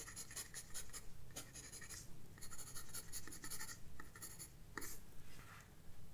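A graphite pencil scratches quick, uneven strokes across a flat paper sketchbook page. Each stroke gives a soft, bright, papery rasp over a steady low background hum.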